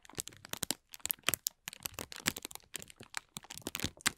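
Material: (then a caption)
Plastic. A wad of thin, clear transparent plastic film is held in one hand while the fingertips of the other pinch, pull and crinkle its surface. The result is a dense run of sharp, bright crackles and crinkles in irregular bursts, with short quiet gaps and almost no low end.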